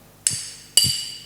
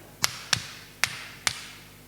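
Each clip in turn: First: Two bright metallic clinks with a high ring; the iron takes the hammer blows and stays intact. Second: Four sharp, bright hammer knocks on wood, each dying at once with no shattering; the block holds.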